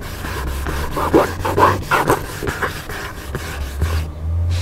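Fingertips and nails rapidly scratch the paper cover of a large black hardcover book lying flat and solid. The result is a steady run of dry, rasping scratch strokes in a quick, loosely even rhythm, with a low hum underneath. The scratching quiets briefly near the end.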